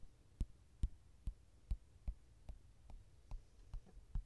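Fingertips tap and rub the glossy card cover of a softcover mandala coloring book lying flat. Ten soft, dull, low thuds come at a fairly steady pace of about two per second, each dying away almost instantly over a faint hush.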